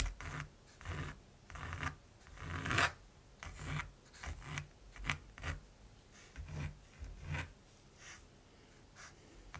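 A mechanical pencil scratches short hatching strokes across the surface of a large, flat primed canvas. Bursts of dry, rasping scratching with a low papery rub beneath come in irregular spurts about once a second, each fading quickly into near silence between strokes.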